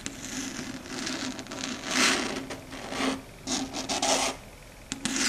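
Very long, pointed red stiletto nails scratch and tap across a large, flat, dark gray chalkboard. Uneven, bright rasping strokes swell and fade over a faint steady low tone. A few sharp taps break through near the end.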